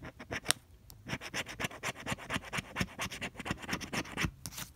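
A pink plastic scraper scrapes the latex scratch coating off a flat coated cardstock scratch-off lottery ticket (no. 045) in repeated strokes. A quick, uneven run of short, dry, bright scratches follows, each with a faint low tap and no ring.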